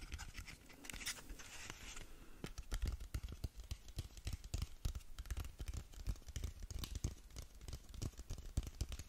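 Long nails scratch along a closed, hollow, long narrow black cardboard lip gloss box, making a steady run of quick, dry scratches and taps. Each stroke gives a short, hollow, low thump under a bright papery rasp, with a brief brighter swish near the start.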